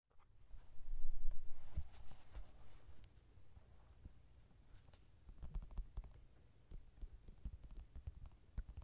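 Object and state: Paperback coloring book.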